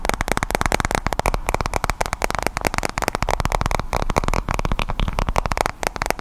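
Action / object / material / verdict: tap / glass-screen tablet / glass / none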